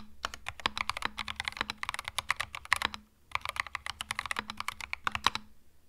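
Fingertips type on a compact cream mechanical keyboard with plastic keycaps, producing a rapid stream of bright, crisp clacks with almost no ring. The typing pauses briefly around the three-second mark before resuming at the same quick pace.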